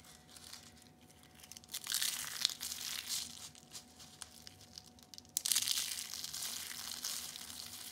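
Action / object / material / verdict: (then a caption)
scrape / dried soap curls / soap / none. Purple and light blue rolled dried soap curls are crushed between the fingers into flakes, giving dense, bright crunching and crackling. The crunching swells into two louder bursts, one near the two-second mark and a stronger one just after five seconds, then trails off into softer crumbling over a faint steady tone.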